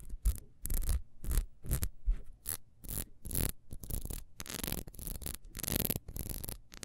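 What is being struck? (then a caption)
Ribbed wax candle. Long nails scratch quickly across the ridges of a small, solid, ribbed wax beehive candle as it is held and turned. Short, irregular bursts of dry, bright scraping are heard, with soft low thumps from handling underneath and brief silent gaps between strokes.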